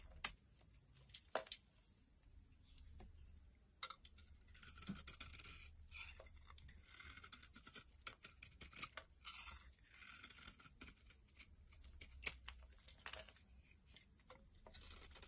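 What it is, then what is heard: Bar of soap being carved. A metal utility blade repeatedly scrapes white shavings off a solid red and white bar of soap held in the hand. Each stroke makes a crisp, bright rasping scrape, with sharp clicks between strokes over a faint low hum.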